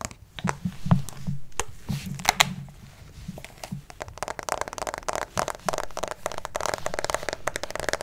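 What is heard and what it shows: A white plastic acupuncture model doll, likely hollow, is held close to the microphone and tapped and scratched on its head and torso with fingertips and nails. The first half has spaced, hollow taps with a low thud. It then turns into a dense run of quick, crisp clicks and bright scratching.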